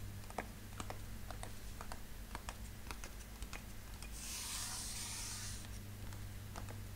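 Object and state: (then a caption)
Long cardboard box. Fingertips and nails tap along the top of a long, narrow, brown cardboard box with a label, held in the hand and closed with tools inside. The taps are quick, light clicks spread across the clip, with a brief bright rubbing hiss in the middle, all over a steady low hum.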